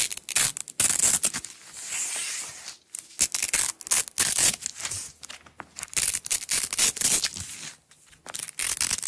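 A thin, flexible yellow nylon hook-and-loop (Velcro) strap is pulled apart and rubbed with long-nailed fingers. It makes quick, bright, crackling tearing bursts and rasping scratches, with a smoother sustained rip around the two-second mark. The sound is almost entirely high-pitched, with almost no low end.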